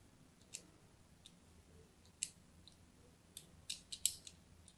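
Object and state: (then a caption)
Bar of soap being scored. A thin blade scratches crosshatch lines into a solid purple-and-white striped bar of soap held in the hand. About nine short, crisp, bright scraping clicks come at an uneven pace, each fading almost at once, over a quiet low background.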